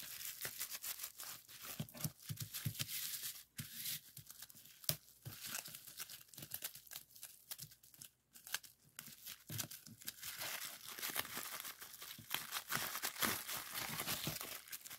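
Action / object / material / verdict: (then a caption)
tap / plastic bubble wrap sheet / plastic / none. Fingertips press and pop the air bubbles of a clear plastic bubble wrap sheet, partly folded in hand over a wooden table. Quick, irregular sharp pops mix with bright, rustling crinkles of the plastic throughout, with brief quiet gaps between bursts.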